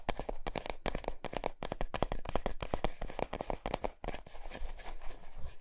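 Long nails and fingertips tap rapidly on the flat, smooth back of a large solid milk chocolate bar resting on a towel. They make a quick run of short, dry clicks with a hollow mid-range knock, and no ring after each hit. Toward the end, the taps become denser and blur into a soft scratchy rustle.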